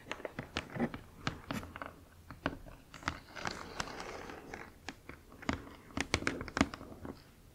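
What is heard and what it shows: Long acrylic nails tap and scratch the glossy back of a flat printed cardboard Spirograph box, hollow with contents inside. Sharp, dry clicks come in an irregular run, with a denser scratchy rustle in the middle. Each tap has a hollow, papery body with bright edges and dies almost instantly.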